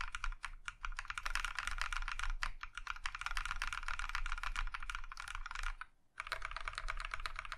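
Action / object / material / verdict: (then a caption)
tap / mechanical keyboard with plastic keycaps / plastic / none. A compact Iron165 mechanical keyboard in a plum-maroon metal case with cream plastic keycaps is typed on steadily, one hand pressing individual keys with its fingertips. The result is a quick stream of short, bright clacks with a low, thocky body, breaking into a brief silence near six seconds before the typing resumes.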